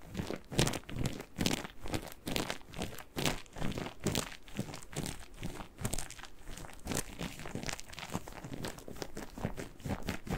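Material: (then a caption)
Cellulose. A single yellow cellulose kitchen sponge with a green scouring layer is bent, squeezed and scratched with fingernails. The result is a steady run of quick, irregular crinkly, crunchy rasps and squishes, with broadband texture up into the high range and a soft low-end body. The sounds are close and fairly quiet, with short decays between bursts.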